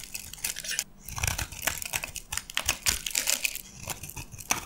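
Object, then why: Soap bar cut with a metal blade. A metal box-cutter blade carves into a dark green solid bar of dry soap embossed "Absolut," held in the hand, lifting shavings. The result is a dense run of dry, crisp crunching and scraping with quick bright crackles that fade almost instantly.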